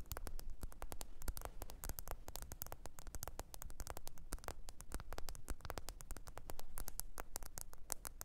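Long pointed nails rapidly tap and scratch the glossy back, possibly glass, of a small, thin, solid black smartphone held upright on its edge. The result is a dense, steady stream of sharp, dry clicks that cut off almost instantly, with brief scratchy strokes over a low, constant noise floor.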